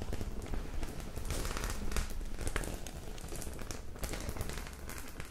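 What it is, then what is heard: Metal-studded faux leather clutch bag. Long acrylic nails scratch and tap across the rows of small metal studs on a medium white, flat faux leather clutch bag that is soft and hollow. The result is a steady, dense crackling patter with quick clicks over a low, soft rumble.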